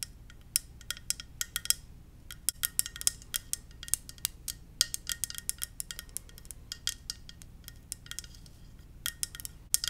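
Gentle tapping on a ceramic Darth Vader mug, with a steady run of quick, bright clinks in irregular rhythm. Each tap is crisp and high-pitched and dies away almost instantly over a faint low background hum.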